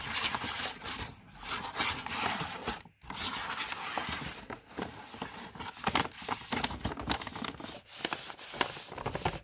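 Fingertips and medium-length painted nails rub and scratch across the printed front of a hollow, upright green and brown Body Shop kraft paper carrier bag with rope handles. The result is a steady, bright papery scraping and crackling with quick scratchy strokes and a brief pause near the three-second mark.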